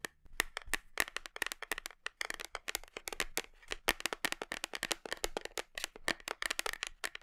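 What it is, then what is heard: Plastic supplement tub tapped with nails. Long nails tap rapidly on the side of a large, black, labeled plastic whey protein tub held hugged against the body, the tub hollow and probably partly filled. The taps are sharp, bright, plasticky clicks with a hollow ring near 1.8 kHz and almost no low end. Each tap dies away almost instantly, forming a quick, uneven patter.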